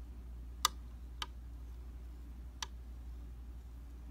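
The tip of a slim metal tool taps three times on a round glass tabletop makeup vanity mirror made of solid flat glass. Each tap is a sharp, bright tick that dies away almost instantly, over a steady low hum.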